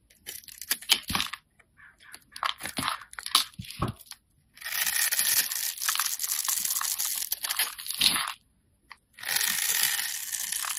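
A solid two-tone orange and green bar of soap, held in the hand, is scraped with a utility-knife blade to carve it into small cubes. Short, crisp crunches and scrapes come first, then long, steady, bright scraping strokes with a brief pause before the last one. The sound is dry and high-pitched, with almost no low end.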